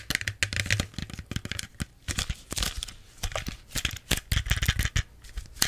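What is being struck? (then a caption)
Small plastic soda bottle. Long nails rapidly tap and scratch a small clear plastic Pepsi bottle with its label and cap on. The result is a fast, uneven stream of crisp, crinkly clicks and scratches over hollow low thumps, with brief pauses between bursts.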